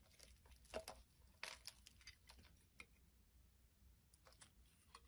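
A utility blade scrapes and carves the face of a solid round green soap disc held in the hand, with other pieces lying on the table. Irregular crisp scraping strokes and brief bright crackles come through, the strongest near the start and middle, with quieter fine scratching in between.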